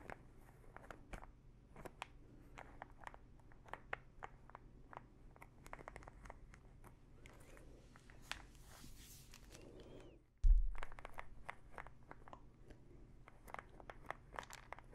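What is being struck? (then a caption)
Small plastic pill bottle with plastic cap. Long nails tap and scratch the teal plastic cap of a small plastic pill bottle full of pills, making a quiet, steady run of sharp, dry clicks with soft scratchy passes between them. A low hum sits underneath throughout, and a single louder thump lands around the ten-second mark before the tapping picks back up.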